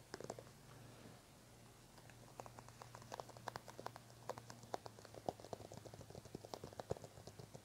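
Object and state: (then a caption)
Plastic cream tube. Fingertips and nails tap and scratch along a small white plastic cosmetic cream tube held in both hands. Quiet, sharp, dry clicks patter in quick, irregular runs, with a short lull early on and a steady low hum underneath.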